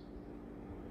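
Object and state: Nothing is struck.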